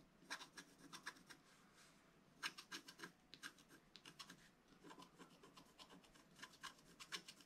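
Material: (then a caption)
Coated paper. A thin wooden stylus scrapes the black coating in the upper foliage area of a flat wax-coated scratch art sheet lying on a cloth. About 27 short, dry, bright scratching strokes come in quick bursts with brief pauses, with a faint rasp around 3 kHz and almost no low end.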